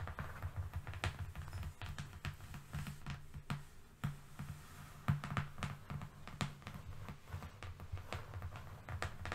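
Fingernails tap and lightly scratch across a long, flat, thin, solid brown cardboard strip lying on a fluffy rug, worked with both hands. Quick, dry clicks with very short decay land in an irregular stream over a steady low hum, with soft scratchy rustling between the taps.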